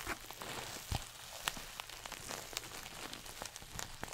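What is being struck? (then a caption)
Coated nylon shoulder bag. A small red glossy coated-nylon pouch shoulder bag is held up before the face and scratched and squeezed with fingernails. It gives a steady, bright crinkling and crackling rustle with sharp little scratch accents scattered throughout.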